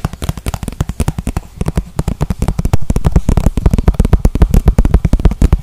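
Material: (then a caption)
Plastic. A small, transparent, hollow plastic container, apparently empty, is held in the hands and tapped and scratched with the fingertips and nails. About 42 quick, irregular taps patter by, each short and dry with a dull, low-heavy thump and almost no ring, interspersed with faint scratching.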